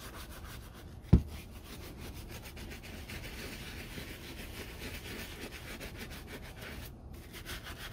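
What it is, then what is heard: Leather boot being scrubbed. A brown leather Red Wing Iron Ranger work boot, lathered with soap and held by hand, is scrubbed with a wooden-handled bristle dauber brush. Steady, wet, low rubbing and brushing strokes continue throughout, broken once early by a single sharp knock.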